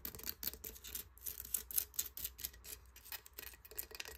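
Fingertips and nails tap and scratch the bumpy top of a large, hollow, crusted conch shell. The sound is a quick run of dry, crisp scratches and clicks, mostly high-pitched and bright, with very little low end.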